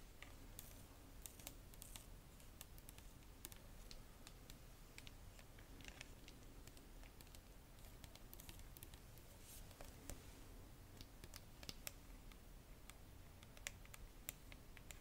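Long nails tap the red plastic cap and the sides of a clear plastic Bioderma micellar water bottle full of liquid. The result is a quiet, irregular run of short, dry, bright clicks and taps over a low, steady rumble.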